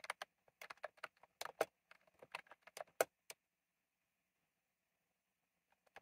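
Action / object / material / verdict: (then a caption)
tap / plastic mechanical keyboard with round keycaps / plastic / none. Fingertips type on a retro plastic mechanical keyboard with round plastic keycaps, producing a quick, irregular run of sharp, bright clicks for about three seconds. Near silence follows, and a few soft taps return just before the end.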